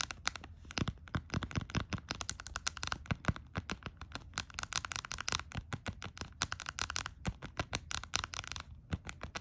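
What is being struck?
Small plastic sanitizer bottle in a silicone holder.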